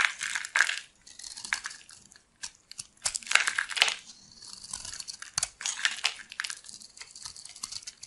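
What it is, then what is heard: Dry bar of soap being carved. A solid white bar of soap, held in the hand, is carved and scraped with a metal blade into crumbly flakes. Dry, crunchy scraping and crackling comes in uneven bright bursts with short pauses between strokes. There is almost no low end.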